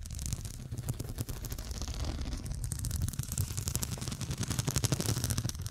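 Long dark pointed nails tap across a fabric cushion covered in square faceted glass studs. The result is a steady run of quick, bright clicking taps over a constant low rumble, with each tap dying away almost at once.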